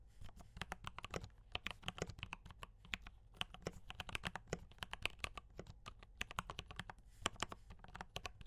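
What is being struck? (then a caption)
Mechanical keyboard with plastic keycaps. Fingertips type steadily on a mechanical keyboard with D84 brown switches and cream and red plastic keycaps. Quick, short clacks follow one another in an uneven rhythm. Each one is bright and dies away almost instantly over a low background rumble.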